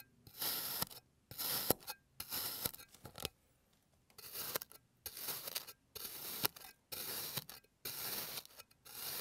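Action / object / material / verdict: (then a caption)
scrape / kinetic sand shape cut with a plastic blade / kinetic sand / none. A clear plastic blade finishes slicing a blue kinetic sand bear shape resting on a green surface, then cross-cuts through the slices. Each pass makes a short, bright, gritty rasping crunch, separated by brief silences in an uneven rhythm.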